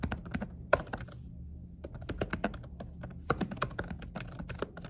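Fingertips with short nails type steadily on a laptop keyboard fitted with a silicone cover, pressing and tapping the keys. The result is a quick run of soft, muted clicks and taps with short bright transients, a pause near the one-second mark, and a low hum beneath.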